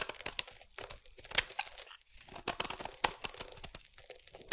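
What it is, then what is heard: Bar soap being shaved. A metal blade shaves thin curls off a solid orange bar of soap, making dry, crisp scraping and crunching strokes in an uneven rhythm. The sound is bright and airy with almost no low end, and each short crackle stops abruptly.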